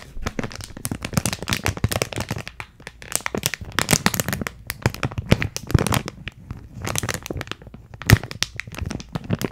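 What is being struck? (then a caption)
Plastic retail bag with card header. Long decorated nails and fingers crinkle and scratch a clear plastic retail bag with a printed cardboard header, filled with purple granular contents and held close to the mic. Dense, dry crackling and rustling bursts run throughout, with brief sharp crinkles over a soft low rumble of handling.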